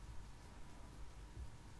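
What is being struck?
Nothing is struck.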